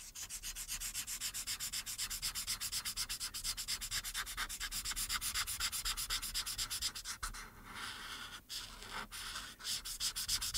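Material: Paper.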